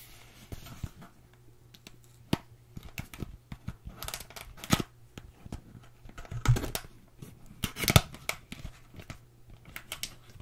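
Long acrylic nails scratch, tap and rub the surface of a flat, printed cardboard retail box for a Moda Studio brush set. The box is hollow with its contents inside and is held and turned in both hands. Dry, crackly scratches and sharp clicks come in irregular bursts over a quiet, steady low hum, with a few louder scrapes standing out.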